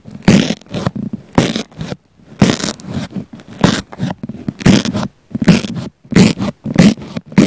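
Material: Foam.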